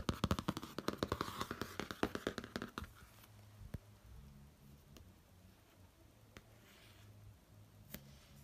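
Fingertips tap and trace across the laminated cover of a pop-art cardboard hardcover notebook resting on a bed. A rapid, uneven flurry of quick, dry taps fills the first three seconds. After that the clip settles into a soft, low rustle broken by a few isolated, sharp taps.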